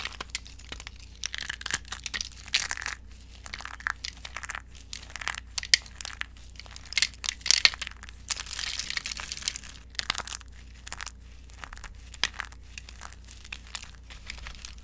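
Both hands squeeze and crush handfuls of brittle, thin, dry orange soap shavings in a glass bowl. The result is dense, bright crackling and crunching that comes in repeated bursts, with sharper snaps over a faint steady low hum.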